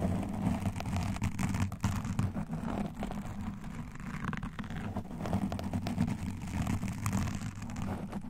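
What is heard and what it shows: Long dark nails and metal claw nail rings on both hands scratch fast and alternately across a soft, porous black foam windscreen on a standing microphone. The result is a continuous, muffled, bass-heavy rumble of dense scratching with a low hum, with little brightness and only brief louder swells.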